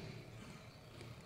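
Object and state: Nothing is struck.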